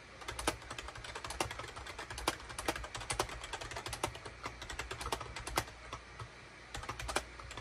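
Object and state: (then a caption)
Plastic computer keyboard being typed on. Fingertips type rapidly on a full-size gray and cream SHIPADOO K600 wired USB keyboard, a plastic keyboard with a hollow plastic case and plastic keycaps resting on a desk mat. Dozens of quick, bright plastic clicks and clacks run in an uneven, continuous stream, with a few louder key strikes standing out. A brief lull near the end breaks the pattern before the typing picks up again.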